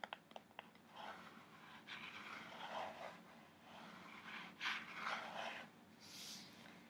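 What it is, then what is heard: Cardboard box. A kraft cardboard box printed with an orca is held upright while fingertips and nails tap and scratch its front face. A few quick, sharp taps open the clip, followed by longer bursts of dry, papery scratching that rise and fall, with brighter, hissier strokes near the end. The overall level stays quiet.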